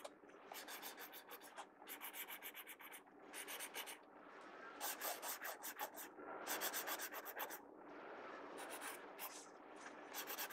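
A pencil tip scratches hatching strokes on the page of an open paper sketchbook. Quick bursts of dry, bright scraping come in clusters separated by short pauses, with a soft rubbing hiss between them.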